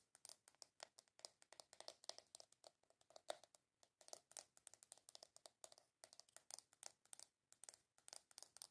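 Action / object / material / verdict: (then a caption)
tap / small round plastic container / plastic / none. Long acrylic nails tap and scratch the lid and sides of a small, hollow, round black plastic jar or compact with a W logo. Fast, dense clicks and scratchy scrapes follow one another with very short decay, bright and crisp with a hollow plastic tone around 630 Hz and almost no low end.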